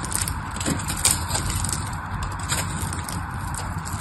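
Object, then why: Bar of soap. A craft knife blade scrapes and carves a solid pink bar of dry soap. The sound is a steady, dry, crackling scrape with crisp, bright flecks over a low rumble, with a few sharper crunches as the blade bites in.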